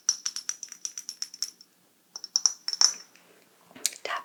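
A small heart-shaped ceramic dish is tapped in quick, light strokes, each tap giving a short, bright, high-pitched tick that rings almost musically. A steady run of taps is followed by a pause, then a second, looser flurry of taps and a few softer scraping sounds.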